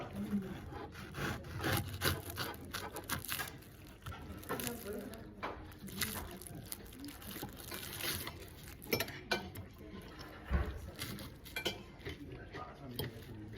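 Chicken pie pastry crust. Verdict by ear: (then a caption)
Crisp. Cutlery breaks into the crispy pastry crust of a chicken pie from an office buffet in Denmark. Dense crunching and crackling mixes with clinks of metal on the dish, with quiet sounds in the background. The crust gives a steady, brittle crunch as it is broken apart.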